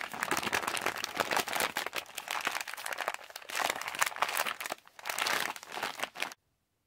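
Fingertips tap and scratch a yellow Halls plastic candy pouch while hands crumple the plastic. The result is a dense run of bright, crisp crinkles with almost no low end, continuing for about six seconds before cutting to silence.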